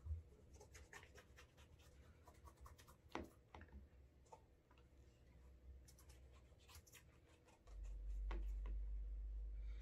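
A brown leather Alden Straight Tip Blucher cap-toe shoe has its heel and toe rubbed and buffed briskly with a cotton cloth to create a wax burnish. Quiet, quick scratchy swipes of cloth on leather repeat in a fairly steady rhythm over a low background hum. Near the end, a louder, steady low rumble rises beneath the strokes.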